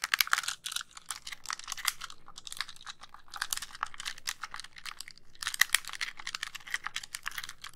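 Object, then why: Plastic handheld game console. Fingernails press and click the buttons of a white, hollow plastic handheld game console and tap its shell. The result is a steady stream of dense, dry, bright clicks and taps with almost no ring, rising and falling in bursts over the whole clip.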